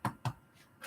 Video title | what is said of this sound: Meal prepping stuffed meatballs with DearMamaSal | if you pick it up and it sounds hollow right then chances are it's good